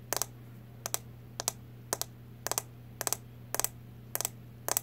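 Long nails tap on a small, round, brown plastic makeup powder compact that is closed, making crisp, bright clicks in quick pairs and triples. Each click is very short, with no ring. A steady low hum runs underneath.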